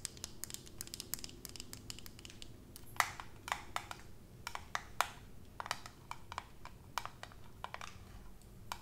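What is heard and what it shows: Long acrylic nails tap and scratch the metal screw lid and glass sides of a medium glass jar full of raw honey, held in hand. Quick, irregular, bright clicks and ticks with almost no ring sound over a faint, steady low background noise, with a few sharper, louder taps standing out.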